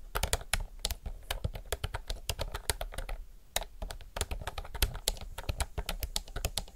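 Both hands type fast with their fingertips on a retro, typewriter-style mechanical keyboard with round plastic keycaps. The result is a rapid, uneven stream of sharp, bright clacks over a low thump from each keystroke. Each click dies away almost at once.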